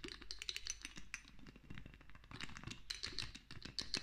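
A small amber-brown glass castor oil dropper bottle, partly filled with oil, is held in one hand and tapped and clicked with long nails while the dropper is lifted and clinked against it. Rapid, sharp, bright clicks and glassy ticks come in quick irregular bursts over soft low thuds, each dying away almost instantly.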